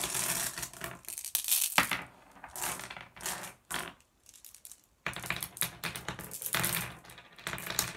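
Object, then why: Small glass gem pebbles dropped onto a pile on a wooden table. A handful of small, solid blue glass gem pebbles is picked up with the fingers and dropped back onto the pile and the wooden table. The result is bright, rattling clicks and clatters in repeated bursts, with a quieter gap near the middle before the clattering resumes.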